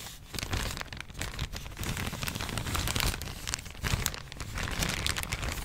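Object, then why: Thin plastic bag. A thin, empty yellow plastic bag is folded and crinkled between the fingers. It gives a steady run of dense crackling and rustling, with bright crisp crackles over a soft low rumble.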